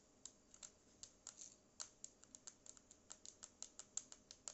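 Long nails tap and scratch the matte plastic body and edge of a small black Bluetooth speaker with a yellow logo and a hollow casing. About two dozen quick, bright clicks with short scratchy brushes come at an uneven pace over a quiet background. Each sound is dry, high, and dies away almost instantly, with almost no low end.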